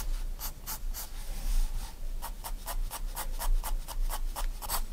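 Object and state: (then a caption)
Pencil hatching on sketchbook paper. A 4B pencil makes quick hatching strokes across a white paper sketchbook page lying flat, producing a rapid series of short, bright scratching sounds. The strokes come in an uneven rhythm over a steady low hum.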